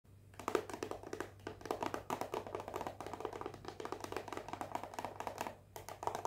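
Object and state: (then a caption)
Cellophane-wrapped cardboard box. A small rectangular hollow cardboard perfume box, still in its cellophane wrap, is held in one hand and tapped and scratched with long painted fingernails. Quick, dense clicking taps and crinkly scratches run almost nonstop, with a short pause near the end before they resume. Each tap is dry and brief with a hollow midrange knock, over a faint low hum.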